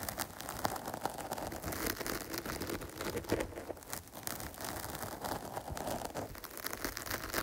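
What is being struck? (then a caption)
Foam microphone cover. Long pointed nails scratch quickly and repeatedly on the top and side of a dark foam microphone cover. The result is a dense, continuous rustling and crackling scrape at a steady level, strongest in the mids around 800 Hz with airy high hiss throughout.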